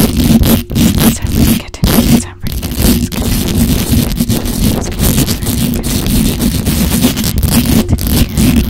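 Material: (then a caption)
Metal mesh. Long acrylic nails scratch fast and hard across the hollow metal mesh grille of a black microphone. The result is a dense, continuous, rough scraping with a strong low rumble and a steady hum-like tone near 240 Hz. Bright scratchy texture sits on top, broken by a few brief gaps.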